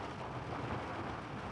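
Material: Nothing is struck.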